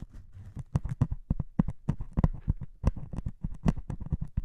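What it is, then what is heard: Melamine foam sponge with scouring pad. A white melamine foam sponge with a grey scouring pad on top, held in one hand, is poked and scratched with a metal needle. It makes a rapid, uneven string of short, dull, muffled clicks and scrapes that are mostly low in tone and die away almost instantly.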